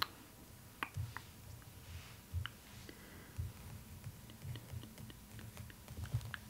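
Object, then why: Glossy paper page of an open book. Long nails tap quickly on the glossy paper of an open art book, making crisp, bright clicks over a soft low rumble. The taps come in an irregular patter with short, dry attacks that stop at once.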